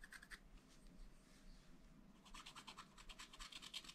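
A wooden stylus hatches rapid scratches over the car area of a black-coated sheet on a scratch-art paper pad. Quiet, dry, bright scratching strokes come in quick bursts, growing denser and sharper in the second half over a faint low hum.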